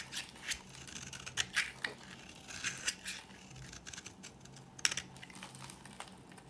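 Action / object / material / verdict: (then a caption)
scrape / bar soap scraped with a metal blade / soap / none. A dry green bar of solid soap is scraped with a metal blade that peels off shavings, giving a series of short, crisp, bright scratching and crackling strokes. Sharp peaks stand out over a steady faint hum.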